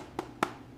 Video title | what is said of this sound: This Sourdough Bread Is SO CRISPY! 🍞🔥 The Perfect Homemade Loaf | listen to that crust crackle. That's exactly what we want. Crispy